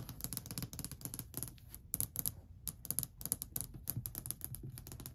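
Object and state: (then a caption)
Solid wooden ledge. Long white nails rapidly tap and scratch across a long, flat, solid varnished wooden ledge. The result is a dense run of quick, dry clicks, each with a soft low knock and a bright, high tick that stops almost instantly, with faint scratchy rubs between the taps.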